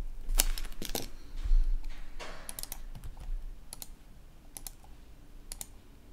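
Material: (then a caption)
Plastic. Fingertips of a right hand resting on a red-backlit plastic laptop keyboard tap lightly at the keys, making sparse, irregular, sharp bright clicks. A soft brief rustle sits among them over a steady low background hum.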